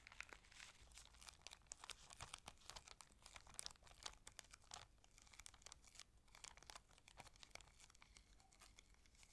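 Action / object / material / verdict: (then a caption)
scrape / thin cellophane sheet / cellophane / none. A small, clear, thin, empty cellophane sheet is held between the fingers of both hands and crumpled, rolled and rubbed with the fingertips and long red nails over a table. Dense, bright crinkling and crackling fills the whole stretch in quick, overlapping bursts with almost no ring, over a faint low background hum.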